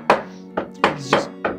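During a window replacement, the exposed framing of a window's rough opening is knocked on five times to check its material. The short, dull knocks ring only briefly, sounding like wood, and the framing is confirmed to be wood.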